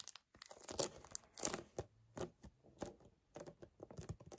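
Both hands grip and fast-tap fingernails on a hollow 1 L white paperboard kefir carton. The result is a quick, irregular run of quiet, papery crackles and crinkles with dry, short taps and bright rustling edges.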